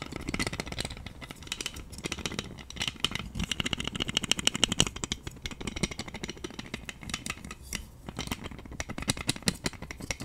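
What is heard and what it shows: A pink plastic roller massager with white spiky rollers is rattled, spun and scratched with long nails. A dense stream of quick, bright clicks and plastic rattling runs throughout, over a faint low rumble.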